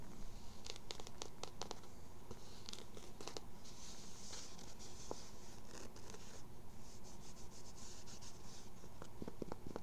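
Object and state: Cotton baseball cap, scratched.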